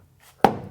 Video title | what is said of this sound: Building Evelyn: Fitting, glueing and fastening planks, EP18 | you can actually tell uh by just tapping on it listen to that solid solid it's quite solid